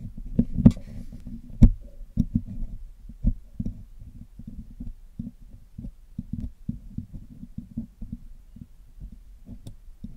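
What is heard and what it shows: A thin metal pick is poked into and scraped along the holes of the hollow black metal wire-mesh grille of a Blue Yeti microphone, held in one hand, while cleaning it. This produces a loose, irregular series of short, dull, low thumps with scratchy scraping between them. A few sharper, brighter ticks stand out near the start and the end.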